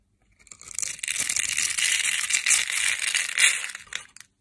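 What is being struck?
Translucent bar soap shaved with a metal knife.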